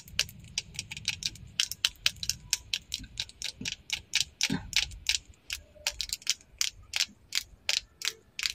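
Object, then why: Plastic lip liner pencil tapped with fingernails. Long acrylic nails tap and scratch along the length of a slim, bright green plastic lip liner pencil, small and solid, held in both hands. About thirty-three sharp, dry, high clicks come in a quick, uneven run, each stopping short with no ring, over a faint low rumble.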